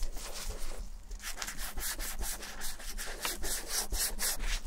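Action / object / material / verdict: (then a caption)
scrape / leather ankle boot / leather / none. Fingertips in black nitrile gloves rub cream into the worn leather heel and toe of an empty ankle boot. Repeated soft, bright swishing strokes rise and fall over a steady low hum, with a brief quieter pause early on before the rubbing resumes.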